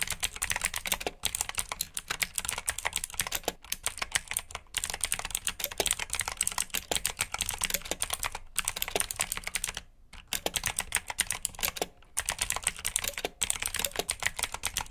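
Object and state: Mechanical keyboard with clicky switches.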